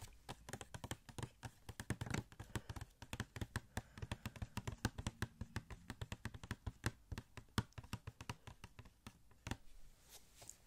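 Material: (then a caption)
Cardboard. Fingertips tap rapidly on a small, hollow cardboard Funko Pop box with a plastic window, producing a dense run of short, dry taps. Each tap has a low, hollow body thud with a crisp, bright click on top and almost no ring. The tapping varies in strength and speed throughout, then thins out toward the end.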